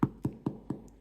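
A freshly baked sourdough loaf, just out of the oven and still warm, is tapped four times on its bottom, giving short, dull, hollow knocks. The hollow sound shows the loaf is baked through.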